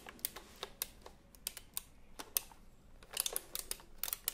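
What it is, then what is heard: Retro-style keyboard with round plastic keycaps. Fingertips tap and press the round plastic keycaps of a retro typewriter-style computer keyboard held at a diagonal. The result is a quiet, irregular run of short, bright clicks with almost no ring. Some keystrokes land close together in small clusters.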